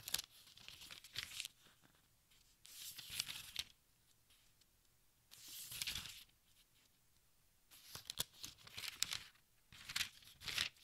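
Fingers flip the thin, crinkly pages of a large open textbook, producing bursts of bright, papery crinkling rustle with brief quiet gaps between turns. The sound is soft and almost entirely high-pitched, with sharp crackles inside each page turn.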